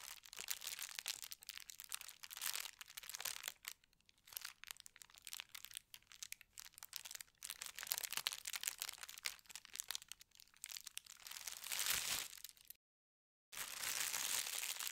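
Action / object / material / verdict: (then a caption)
scrape / thin tissue paper sheet / paper / none. Fingertips press and rub a flat, thin white tissue paper sheet with a gold star print, then the hands lift slightly. The result is quiet, irregular, bright crinkling and rustling with almost no low end. A brief gap of silence near the end is followed by a steadier burst of crinkling.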